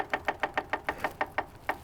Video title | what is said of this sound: how to ride motorcycle 5 minutes | if you don't hear that click you might be able to loosen up the starter relay by doing that